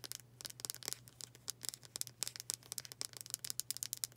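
Long dark acrylic nails rapidly tap and scratch the solid wood back of a palm-sized, dark brown oval wooden hair brush with black bristles. About two dozen sharp, bright clicks come in quick, uneven bursts over a faint steady low hum. Each tap stops almost instantly with no ring.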